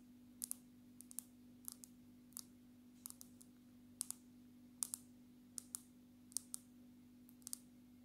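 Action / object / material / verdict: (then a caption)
tap / smartphone in plastic case with glass screen / plastic, glass / none. Long natural nails tap on the glass screen and edge of a smartphone in a dark red plastic case, making about 20 quick, bright, dry clicks that often come in close pairs. The clicks die away almost instantly over a quiet, steady low hum.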